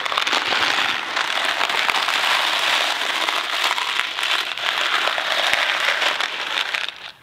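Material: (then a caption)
Dry pasta. A Kraft macaroni & cheese cardboard box full of dry pasta is held close by the fingertips and shaken. The result is a steady, dense, bright rattle of pasta pieces tumbling inside the box, like crackling or rain, with almost no low end. It continues for about seven seconds before quickly dropping away at the end.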